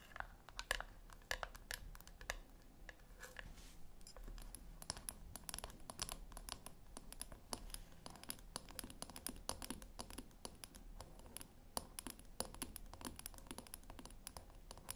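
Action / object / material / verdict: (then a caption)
tap / small round metal tin / metal / none. Long nails tap on the top of a small round silver metal tin resting on a white cloth, then scratch along its rim and side edge. Quick, dry clicks and scrapes with bright, metallic edges follow one another closely. They are underlaid by a faint steady low hum.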